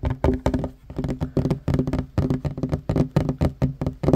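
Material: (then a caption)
Wood. Fingertips and short nails of both hands tap quickly on a flat, solid wooden table top. The result is a rapid, uneven run of dull, low knocks with a woody body around 130 Hz. Each tap dies out almost at once, with little brightness.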